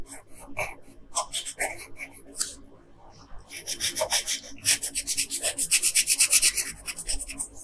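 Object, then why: Colored pencil rubbing on a paper sheet. A hand with long nails rubs a yellow colored pencil across a flat printed paper coloring sheet in fast, rasping strokes. The scratchy, bright strokes come in bursts, ease off briefly in the middle, then return as a quicker, steadier run of back-and-forth rubbing.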